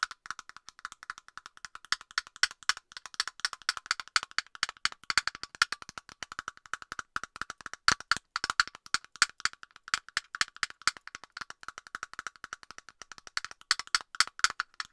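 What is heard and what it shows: A hollow plastic cap on an aerosol can is tapped rapidly with long nails, producing a continuous stream of short, dry clicks. The taps have a hollow, woody ring centered near 1.4 kHz with bright high overtones and almost no low end. Each tap dies away almost at once.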